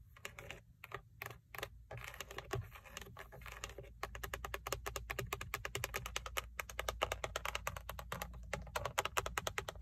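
Long painted acrylic nails rapidly tap and scratch the hard textured plastic airbag cover, with its chrome logo, on the center hub of a Toyota steering wheel mounted in the car. The result is a dense stream of dry, bright clicks that stop almost instantly, growing quicker and busier after the first few seconds, over a faint low steady background.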